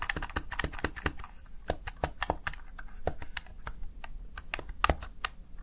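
Fingertips press the keys of a plastic Razer Tartarus Chroma gaming keypad in a quick, uneven run of keystrokes. Each press is a short, dry plastic click with almost no ring, bright on top over a soft low thud, and the tapping continues steadily throughout.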